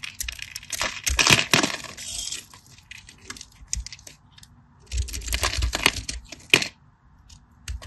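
A knife cuts and flakes cubes from a solid cream bar of soap, already scored in a crosshatch and held in the hand over a red mat. Two bursts of crisp, bright scraping and crackling clicks are heard, each tick short and dry with almost no ring, separated by quieter, sparse scratches.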